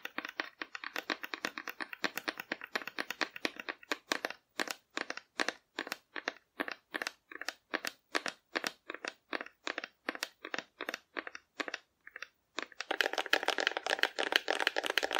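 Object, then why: Painted cardboard figure. Long painted fingernails scratch and rub a hand-sized, colorfully painted cardboard dinosaur figure, apparently hollow, held in one hand. For about twelve seconds they make quick, rhythmic bursts of dry, crunchy scratching with no low end. The sound then turns into a continuous, denser and brighter rasp until the end.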